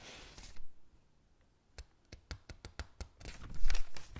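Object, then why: Thin paper catalog pages. Both hands with long pink nails rub and smooth the crinkled pages of an open, thin paper catalog lying on a table, then turn a page. Soft papery rustling fades into a near-silent pause, followed by a run of short, crisp crackles. The clip ends in a louder, bright swell of crinkling as the page is handled and turned.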